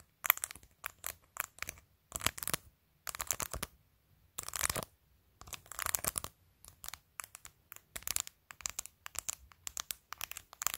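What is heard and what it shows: Long pointed nails tap and scratch across the face and edge of a clear glitter plastic phone case covered with acrylic press-on nails. Quick, bright clicks and crisp scratchy bursts come in clusters separated by short silences. Each click dies away almost instantly, with very little low end.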